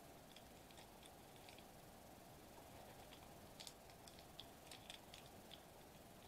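Fingertips softly press and tap a flat silver metallized plastic bubble wrap sheet lying on a white table. Faint, bright crinkly ticks and light taps come in scattered bursts over a steady, quiet hiss with a low hum around 680 Hz.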